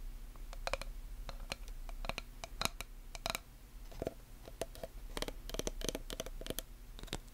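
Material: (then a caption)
Slate and wood. Long nails tap and scratch the face and wooden edge of a small black chalkboard with a wooden frame, held in both hands. The result is a quiet, irregular run of short, dry, bright clicks and brief scrapes over a steady low hum.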